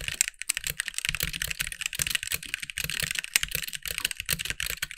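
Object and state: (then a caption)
Plastic mechanical keyboard. Fast two-handed fingertip typing on a compact backlit mechanical keyboard with white plastic keycaps. It makes a dense stream of bright, sharp clacks that stop almost instantly, with a little low thump under the keystrokes.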